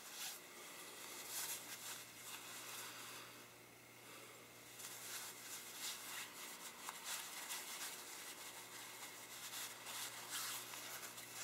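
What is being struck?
Nothing is struck.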